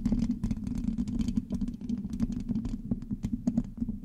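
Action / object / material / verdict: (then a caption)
scrape / metal mesh microphone grille / metal mesh / none. Long acrylic nails on both hands scratch and tap rapidly on the hollow black metal mesh grille of a large USB microphone. The result is a dense, continuous stream of short, dry clicks and scrapes with bright, crisp edges over a steady, hollow low-mid resonance around 240 Hz.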